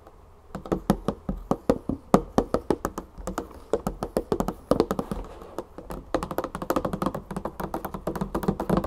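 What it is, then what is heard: Full plastic olive oil jug. A large 3-liter plastic olive oil jug, full of oil, is tapped with long fingernails on its label and side. Quick, dull, short-ringing taps come in a fast, uneven stream with a low thunky body.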